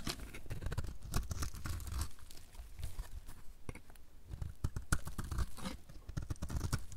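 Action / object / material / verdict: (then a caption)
scrape / soap bar carved with a blade / soap / none. A dry, solid light blue soap bar held in the hand is carved with a utility knife blade, and flakes pile up. The blade gives a quick run of short, dry scraping and crunching cuts with a low, thudding body and brief crisp, bright ticks. The cuts come in dense bursts that ease off slightly in the middle of the clip.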